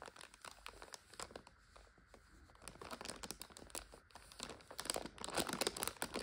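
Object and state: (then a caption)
Plastic instant-noodle multipack being crinkled. A full plastic multipack of instant noodles lies flat while long nails tap and scratch the wrapper and fingers crinkle it. The result is a dense, bright crackle of many quick, irregular ticks and rustles. It has little low end and grows louder toward the end.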